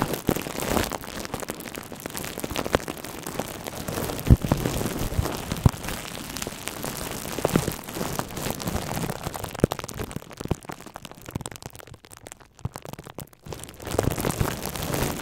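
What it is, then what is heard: Plastic bubble wrap. Thin, hollow, air-filled plastic bubble wrap wrapped around a red microphone is squeezed, crinkled and rubbed with the fingertips of both hands. It makes a dense, low-heavy crackling like rain on a surface, with occasional sharper pops standing out. The crackle thins to near silence around twelve to thirteen seconds, then picks back up.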